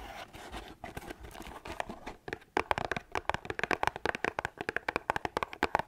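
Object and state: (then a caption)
Cardboard tea box. Long acrylic nails scratch and tap the sides of a small, hollow, printed cardboard box of lemon, ginger and manuka honey tea held in the hand. A soft, continuous papery scratching fills the first couple of seconds, then gives way to a quick run of sharp, dry taps with mid-range clicks and almost no ring.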